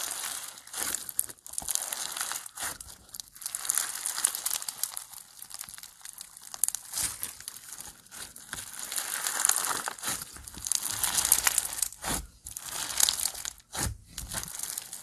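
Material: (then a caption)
Foam beads. A rainbow foam bead slime (floam) lump, solid and soft, is pressed and kneaded with fingertips and squashed with the palm against a table. The sound is a continuous bright crinkling and crackling of beads, with dense rapid pops and brief dips between squeezes. Almost no low end is heard.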